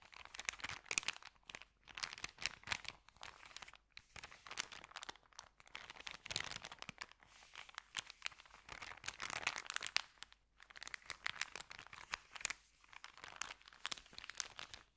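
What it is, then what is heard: Paper bag being crinkled. Hands fold and crinkle an empty white paper sandwich bag, then press it flat with their fingertips. The result is a dense series of dry, bright crinkling and crunching bursts with quiet gaps, almost no low end, and no ringing.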